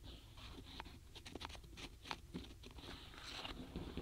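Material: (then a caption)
Wood. Long fingernails tap and rub the tops of a full tray of small solid wooden alphabet stamp blocks in a paperboard box, with fingers resting on the block edges. Quick, dry clicks and soft scratchy rubbing come in an uneven series over a low, quiet background, each tap dying away almost at once.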